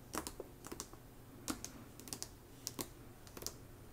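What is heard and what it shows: Long nails tap rapidly on the glossy paper dust jacket of a hardcover novel, *Slewfoot*, lying flat on a rug. The taps come in irregular little bursts. Each is a short, dry, bright click with almost no ring, over a faint low background hiss.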